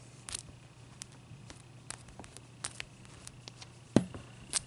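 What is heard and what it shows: A large, clear, solid, wet ice cube is scratched with long nails and moved about on a towel, making a series of short, bright scratches and clicks over a steady low hum. The loudest, fullest scrape comes near the end, with a final bright tick just after.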